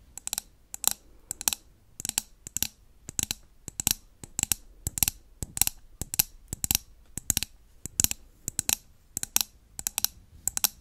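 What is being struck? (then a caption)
Wax-filled glass candle jar. Long nails tap quickly on a wax-filled glass jar candle with a lid and a blue label, held close to the mic. The taps come in rapid bursts of sharp, bright clicks with almost no ring and very little low end.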